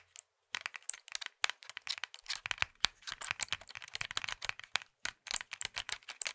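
A small hollow plastic Nokia mobile phone is gripped in both hands while fingertips and thumbs squeeze, twist and click its casing and keys. Quiet, bright, dry clicks and crinkly creaks come in rapid, uneven bursts with almost no low end, broken by two brief silences.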